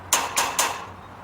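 Three bright metallic taps on a metal fence, struck at its far end while listening with an ear pressed against the fence, since sound travels faster through the metal than through air. Each tap is a sharp, ringing clink centred around 930 Hz with strong high overtones, and each fades quickly into a faint low hum.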